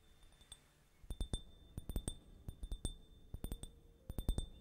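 A small, empty, hollow clear glass tumbler held up in one hand is tapped with fingertips and nails, and possibly a small gold-colored tool in the other hand. About eighteen short, bright clinks come in quick clusters of three or four over a quiet background. Each tap dies away almost at once, leaving a faint, steady high ring underneath.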